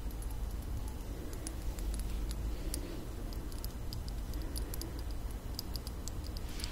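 A slim Viktor&Rolf glass rollerball perfume vial, partly filled, is tapped with long nails. Quick, light, bright clicks scatter irregularly throughout the clip over a steady low rumble, each tick dying away almost at once.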